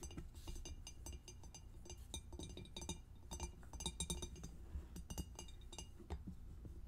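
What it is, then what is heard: Glass food storage container with plastic snap lid. Long acrylic nails tap rapidly on the top of the clear lid and along the sides of a closed, empty, medium rectangular two-compartment glass food storage container with a plastic snap lid and blue plastic locking tabs, lying on a white table. It makes a quick, uneven stream of short, dry clicks and light bright clinks that die away almost instantly, over a steady low rumble.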